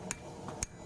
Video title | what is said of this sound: #vevor Single Horn, 110lbs Cast Steel Anvil. Is it good? Lets take a quick look! - Giveaway Winners! | it sounds solid. It sounds good.